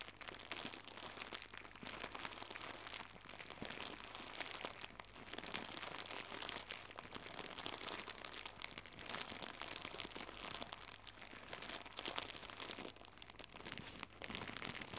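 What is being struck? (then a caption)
Thin plastic gift bow. Fingertips with red-painted nails squeeze and crumple a small white crinkly plastic gift bow. The result is a continuous, quiet stream of dense, bright crinkling and crackling with a faint low hum underneath.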